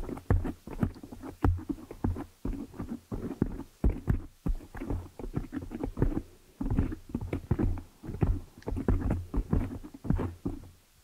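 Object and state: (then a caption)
Foam microphone windscreen. Long manicured nails of both hands scratch and tap the hollow black foam cover over the head of a large desktop USB microphone, up close. The result is a rapid, uneven stream of muffled, bassy thumps and soft rustling scrapes that come in clustered bursts with brief pauses. The sound is deep and dull, with almost no bright content and no ringing after each tap.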